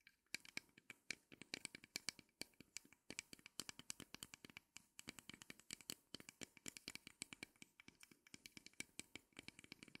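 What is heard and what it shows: Long nails scratch and tap the legs and crossbar of a small wooden mini easel made of thin, solid, light wooden sticks. The result is a dense run of quick, dry, bright clicks and scrapes with almost no ring and little low end, steady throughout at a soft level.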